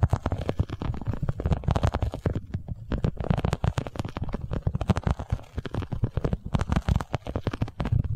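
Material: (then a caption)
Vinyl. A boxy, iridescent holographic vinyl cosmetic pouch is held in both hands while long nails rapidly tap and scratch its underside. The result is a dense stream of quick, dull, low-heavy thumps with short bright scratchy edges, continuing throughout with brief pauses.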